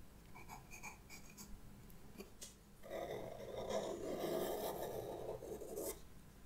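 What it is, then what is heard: Pastel pencil drawing on sketchbook paper. A white pastel pencil, held in a hand with long red nails, scratches and draws lines across flat black drawing paper in a sketchbook with solid backing. Light, separate scratchy strokes come first. They give way to a louder, continuous rasping drag that sits mostly in the mid range, with bright edges.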